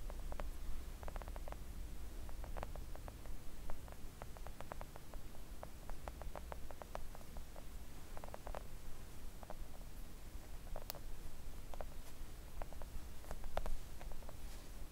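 Long coffin-shaped press-on nails tap on a thin, solid, flat pink silicone nail art mat lying on a table. Quick, soft, dull clicks come in uneven bursts over a steady low hum, staying quiet throughout.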